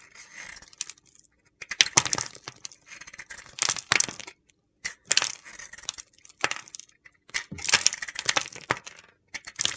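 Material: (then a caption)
Soap. A metal utility knife blade shaves a small, solid piece of white soap coated in orange glitter, held between fingers with long painted nails. The result is a series of crisp, gritty scraping and crunching bursts, bright and high-pitched, separated by short pauses.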